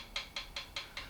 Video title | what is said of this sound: Triumph Bonneville T140: checking valve rocker clearance | If I just move it up and down, hopefully you can hear that tapping sound, which shows us that we have got a gap there, we have got a clearance.